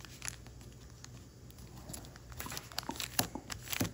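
Fingertips run along and rub the creases of a narrow, folded piece of thin origami paper, then lift it. Soft, steady rubbing gives way to crisp crinkles and sharp, bright crackles that grow louder toward the end.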